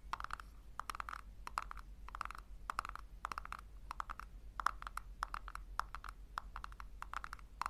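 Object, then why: Small plastic tub. A small hollow pink plastic tub, held in both hands, is tapped and scratched with long nails on its sides and base. Rapid bursts of crisp, dry clicking and scratching centre around 1.2 kHz with bright edges, each dying away almost instantly. A steady low hum sits underneath throughout.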